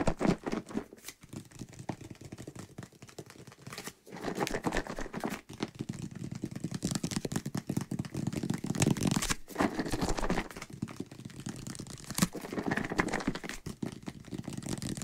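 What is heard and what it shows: A white plastic bottle of soapy water is held close to the mic while fingertips tap and scratch it and it is shaken. The result is a dense stream of dry crinkling taps and scratches with a low, hollow body and occasional bright clicks. Each sound stops almost at once, and there are brief quiet gaps between bursts.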